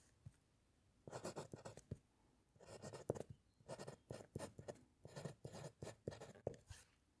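A metal fountain pen nib scratches across a white paper sheet resting on a solid wooden clipboard during handwriting. Quiet, dry scratching comes in short clusters of pen strokes, separated by brief pauses.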